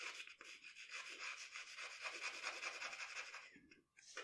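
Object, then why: Pencil on a paper sheet. A pencil rubs in shading strokes across a sheet of drawing paper on a table, shading around the eyes of a portrait. The steady, bright, dry scratching carries little low end, briefly drops almost to silence near the end, then resumes.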